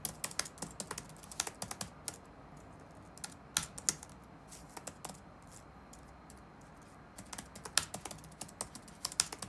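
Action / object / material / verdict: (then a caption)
tap / plastic laptop keyboard keys / plastic / none. Fingertips tap on the black plastic keycaps of a dark laptop resting on a wooden desk. Around thirty crisp, bright, very short key clicks come in quick bursts, with little low end. A near-silent pause falls in the middle before the typing picks up again.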